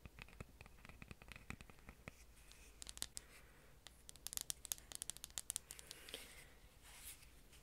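Long orange fingernails tap and scratch the wooden sides of a rustic wooden picture frame held up close. Quick, dry, bright clicks come in irregular bursts over a soft scratching hiss, each tap dying away almost at once. Near the end a few brief rougher scrapes are heard.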